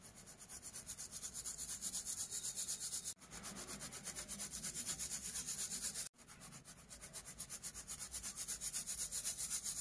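Broken chunks of dyed orange and white pressed baking soda are shaken and swirled by hand in a round stainless steel mesh sieve over a bed of orange powder, sifting out the dust. The result is a steady, rhythmic, bright scratchy rustle pulsing about four times a second, with two brief breaks near the 3- and 6-second marks.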